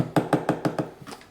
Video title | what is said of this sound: Milwaukee Packout 48-22-8400 coffre 3 pièces sur roulette :p | Ça sonne comme du plastique, c'est parce que ça tient sur du plastique.